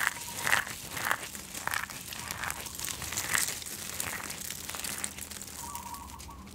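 Hands with long painted nails grab, squeeze and crumble handfuls of dry, crunchy recycled soap flakes in white, yellow and blue, rubbing and crushing them over a spread pile. A steady, dense, bright crinkling crunch and crackle is heard, with a few louder squeezes standing out early on. The crunch comes off as only a semi-fail.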